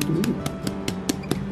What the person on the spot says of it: This is what the crust sounds like on the top.